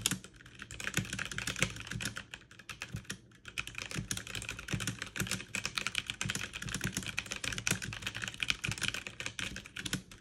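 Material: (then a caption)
Plastic. Fast two-handed typing with fingertips and long nails on a backlit mechanical keyboard with plastic keycaps produces a dense, continuous stream of bright, sharp clicks with very short decay. A low thump sits under the keystrokes, and the rhythm surges and dips without pausing throughout.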